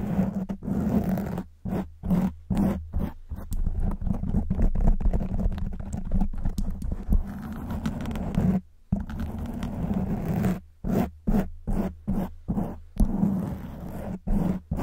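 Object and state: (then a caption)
Foam microphone windscreen being scratched. Long white almond-shaped nails on both hands rest on and scratch a black foam windscreen fitted over a silver microphone. The result is a dense, muffled, low-heavy rustling and rumbling scrape that comes in rapid bursts, broken by short moments of silence.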